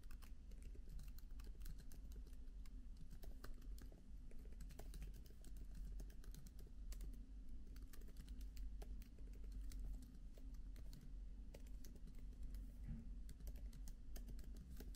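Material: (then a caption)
Plastic. Fingertips type quickly on the plastic keys of a MacBook laptop keyboard with an aluminium body. A steady stream of soft, light key clicks runs over a low, constant hum. The tapping stays quiet and even throughout.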